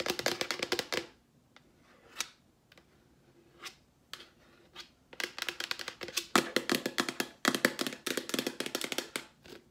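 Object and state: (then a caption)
Plastic wipes canister. Long nails tap rapidly on a large yellow Clorox plastic wipes canister, hollow with wipes inside. Sharp, dry clicks ring around a hollow tone near 344 Hz. A quick flurry opens the clip, a few scattered single taps follow, and then dense, aggressive tapping runs to the end.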